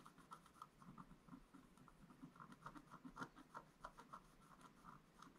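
A wooden stylus held in the fingers scratches lines into the black coating of a scratch art paper board page with a gold base, lying flat as a book page on a table. Quiet, dry, short scratching strokes follow one another in an uneven rhythm, each a brief rasp with a papery upper-mid edge and no ring after it.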